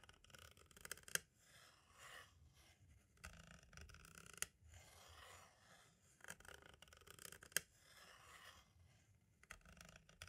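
A pointed tool tip scrapes and rubs across the label and edge of a small, hollow white plastic audio cassette shell. Soft, bright scratching bursts come and go quietly, broken by three sharp clicks that stand out above the steady rubbing.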